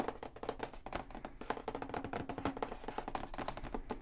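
Fingertips tap rapidly on the top and back of a large printed cardboard Xbox Series X retail box, hollow with contents inside. The result is a dense run of quick, dry, hollow taps with very short decay, mid-pitched around 770 Hz, with a few faint higher tonal whines in the background.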